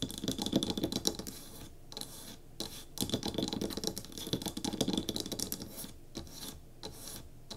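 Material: Wood.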